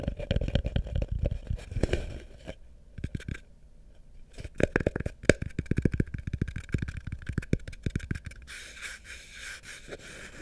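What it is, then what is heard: Wooden bucket tapped and scratched. Fingernails tap and scratch the wooden sides of a small hollow wooden bucket with a rope handle, turned upside down over the mic. Rapid dull, hollow, low knocks come in quick bursts with a brief lull in the middle, each dying instantly with no ring. The clip ends in a softer, brighter scratching rasp.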